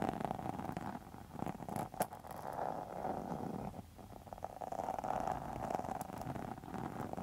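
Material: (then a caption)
Faux leather. A pink textured faux leather wallet, held upright, is scratched with long metal nail tips. The result is a continuous dense rasping, scratching sound with a steady mid-range tone around 750 Hz. It grows quieter briefly near the middle before picking up again, with occasional sharper clicks.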